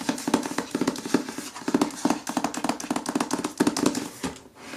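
Fingertips and nails tap fast across the glossy paper dust jacket of the hardcover novel "The Writing Retreat," a solid book held against a window. The result is a dense run of quick, dry, clicky taps with a slight hollow tone and almost no ring, ending in a brief quiet tail.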